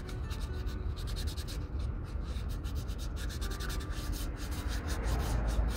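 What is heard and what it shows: The toe of a leather Red Wing Pecos 9801 cowboy boot is rubbed with a folded piece of fine white sandpaper held by the fingertips. It makes a steady, close scratchy sanding sound, with rhythmic bright strokes over a low, rumbly body that never pauses.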